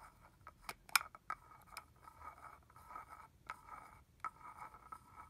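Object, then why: Plastic mist bottle with cap. Fingernails scratch and tap the cap and shoulder of a red plastic body mist bottle with liquid inside. Sharp, dry clicks with very short ring stand out over soft, steady scratching with a bright midrange rasp and almost no low end.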